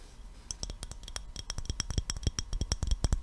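An empty, hollow clear glass mason jar with a gold metal screw lid is held in the hands and tapped with the fingertips and nails. The taps come as a quick, irregular series of short clicks, each with a low thump and a bright glassy ping that dies away almost at once. The tapping grows steadily louder toward the end.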